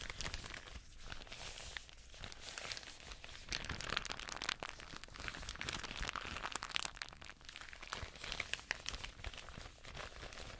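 Hands in black nitrile gloves crinkle, crumple and rub a thin, hollow, empty translucent plastic bag with grey printed lettering, held up in the air. The result is a dense, continuous bright crinkling and crackling, with quick sharp crunches that swell slightly louder in the middle before settling back.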